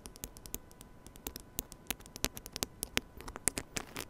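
Fingertips and nails continuously scratch and rub the head of a small silver metal mini microphone on a stand. The result is a quiet, static-like bed of noise broken by a rapid, irregular series of sharp, bright clicks and taps that die away almost instantly.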